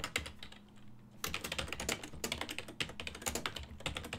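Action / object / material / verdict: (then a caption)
tap / plastic computer keyboard / plastic / none. Fingertips quickly tap the hollow key switches of a full-size black and silver plastic ergonomic desktop keyboard while typing. A few bright, short clicks come first, then a brief quieter pause, followed by a rapid, steady stream of crisp plastic clacks with a faint low hum underneath.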